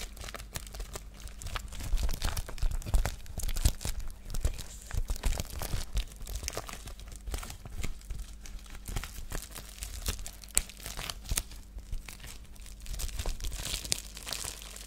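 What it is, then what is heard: Plastic bubble mailer being crinkled. A white, flexible plastic padded bubble mailer, held in both hands, is crinkled and scratched with long painted nails and fingertips. Dense, irregular crackling and crisp tearing-like scratches come in quick bursts with bright high hiss. A steady low hum runs underneath throughout.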